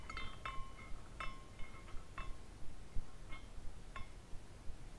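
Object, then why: Small glass carousel figurine. A hand spins a small glass carousel figurine, and its glass horses swing and clink together. Light, bright glassy chinks ring out irregularly, each with a short tonal shimmer near 1 and 2 kHz, over a faint low rumble.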